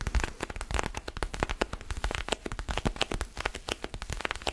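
Fingernails scratch and rub a small, solid orange foam basketball stress ball held in one or both hands. The result is a dense run of quick, dry crackling scrapes and soft ticks with bright edges and a muffled low thud beneath, the sounds coming rapidly and unevenly throughout.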